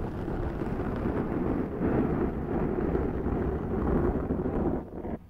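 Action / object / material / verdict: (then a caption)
scrape / foam microphone windscreen / foam / none. Long nails on both hands slowly scratch a large round black foam windscreen on a Zoom microphone. The result is a steady, dense, muffled rustling rumble, heavy in the low end with almost no bright content. It swells gently a few times before dropping away at the end.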